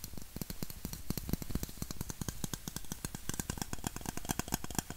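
A red, hollow aluminum Coca-Cola bottle, held sideways and upright, is tapped and scratched with fingertips and nails. Rapid, closely spaced taps land with a low, hollow thump and a bright, clicky edge, mixed with soft scratching. Each tap dies away almost instantly.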